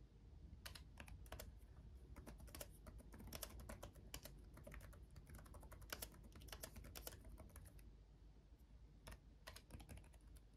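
Both hands tap with their fingertips on a black laptop keyboard with RGB-backlit plastic keys. The result is quick, irregular, bright clicky keystrokes with very short decay over a steady low background rumble.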